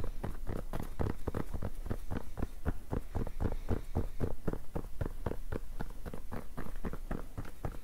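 A black rubber-backed fabric mousepad is bunched in the hands while fingernails scratch and rub its textured cloth surface quickly. The result is a dense run of short, dry scratching strokes with a soft low thump under each.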